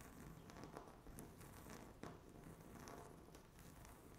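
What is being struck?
Laminate tabletop.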